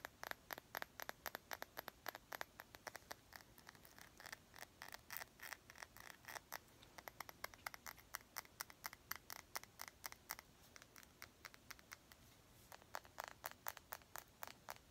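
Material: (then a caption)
Glass. Long nails tap and scratch a small clear glass perfume bottle with a gold cap and liquid inside, held near the face. Rapid, quiet, bright clicking taps come in dense bursts, with a softer scratchy stretch around twelve seconds before the tapping picks up again.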